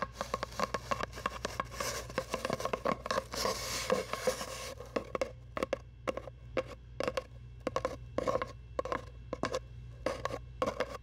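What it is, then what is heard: Cardboard tube. A long, hollow brown cardboard tube held across the microphone is tapped and scratched with long nails. Quick, dry taps with a hollow ring around 520 Hz come in rapid bursts, with a denser, bright scratching stretch near the middle. A faint steady low hum runs underneath.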